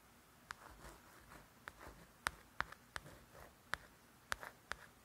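A string of sharp, dry ticks centred around a bright mid-high pitch, each dying away at once, with faint papery scratching between them. The nail catching on a glossy softcover of a coloring book gives these light, unresonant clicks in a quiet small room.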